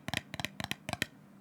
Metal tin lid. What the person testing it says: the lid is more of a hollow sound